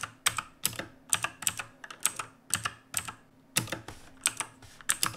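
A full-size black backlit mechanical keyboard with plastic keycaps sits on a wooden desk and is typed on steadily with the fingertips of both hands. About 25 sharp, bright, clicky keystrokes come in quick irregular bursts, each dying away almost at once with a light low thud underneath.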